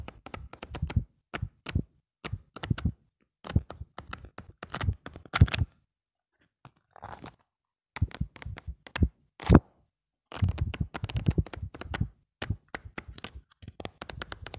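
Fingers flip through the pages of a lined paper notebook and rub them, making clusters of quick papery flutters and crinkly brushes with a soft, low, thumpy body. The bursts come in uneven runs with a quiet pause near the middle, then resume as denser rubbing toward the end.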